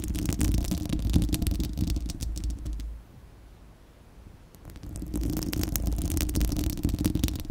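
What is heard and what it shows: Long acrylic nails on both hands scratch the bare, hollow, fist-sized spherical steel wire-mesh grille of a microphone. The result is a dense, low rumbling scrape with many crackly ticks. The sound drops to near silence around the middle, then the scratching resumes.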